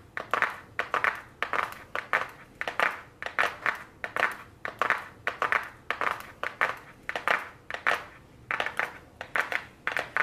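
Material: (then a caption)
Cardboard. Very long blue nails tap and scratch the front of a small, flat white cardboard eyeshadow palette box held upright. The result is a steady run of quick, dry, papery clicks and scrapes in bright bursts centered in the upper mids, each fading almost at once.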